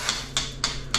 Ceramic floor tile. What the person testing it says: it's a solid it's a solid sound